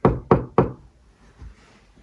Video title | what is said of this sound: Avoiding drilling into electricity or waterpipes in the wall | you can recognize it because it sounds empty